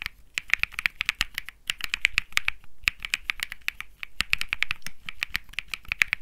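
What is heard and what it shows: Fingertips type quickly across a 65% Think 6.5 mechanical keyboard with light grey and peach Bsun Lollipop plastic keycaps on a metal-looking case resting on grey felt. The result is a rapid, uneven stream of crisp, bright clacking taps that each stop almost instantly, with a faint low thud beneath them.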